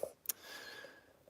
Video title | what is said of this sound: Live in Andamooka: welcome to the underground. | if it's solid enough you barely hear the thud